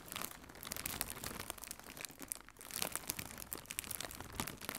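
Fingertips with red nails squeeze and crinkle a hollow strip of blue plastic air cushion packaging. A dense, steady run of bright, high crackles and crinkles rises and falls in loudness for about five seconds, with little low end.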